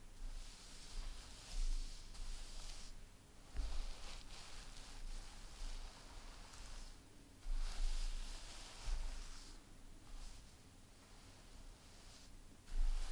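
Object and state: Nothing is struck.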